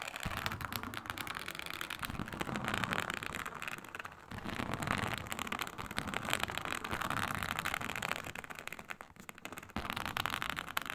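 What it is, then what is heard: Snakeskin-textured faux leather sheet. Long nails scratch across a flat, iridescent, snake-scale textured faux leather sheet, producing a continuous dense crackling scrape with quick rustling strokes. The sound is bright and dry, shifting between heavier, louder passages and lighter, softer ones, with brief pauses around 4 and 9–10 seconds.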